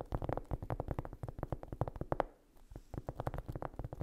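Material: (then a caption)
Cork. Long nails tap and scratch rapidly across a large, solid, flat round cork trivet or coaster. The taps are short, dry and dull, weighted toward the low end. They come in a quick, uneven stream with a brief quieter scratching pause near the middle before the tapping resumes.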